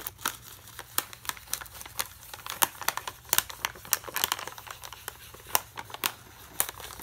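A full plastic foil bag of Aloo Bhujia, held in one hand, is scratched and tapped with a metal pen tip. The result is an irregular run of sharp, bright crinkling ticks and scraping rustles that stop dead with no ring, over a faint low hum.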